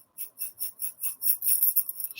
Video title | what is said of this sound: Going Through My Curio Cabinet (Oct 2023) | the little beads in there you can hear them